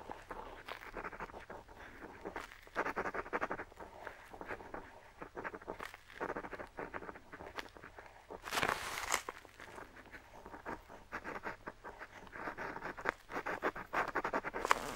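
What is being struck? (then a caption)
Metal pen nib on paper sheet. A metal dip pen nib held in the fingertips scratches ink lines across a large, flat sheet of aged-look, parchment-style paper bearing an ink map, lying on a table. Quiet, dry, papery scratching comes in quick, short strokes centered in the midrange, with a louder, broader rasp near the middle of the clip and some brighter flicks toward the end.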